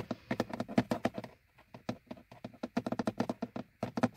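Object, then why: Molded plastic car dashboard gauge hood. Fingertips and nails of both hands tap and scratch the top edge of a hollow, molded plastic gauge hood over a car's instrument cluster. The result is quick, dry, hollow clicks with a mid-pitched body and very short decay, in uneven bursts with a brief pause in the middle.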